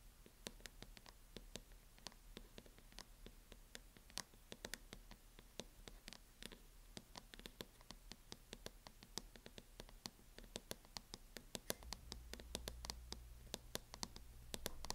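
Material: Plastic.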